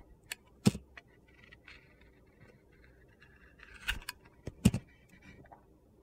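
A utility knife shaves slices along the edge of a solid white soap bar coated in yellow-orange glitter. Sharp, crisp clicks and short gritty scrapes stand out over a faint low rumble, with brief bursts of crunchy texture in between.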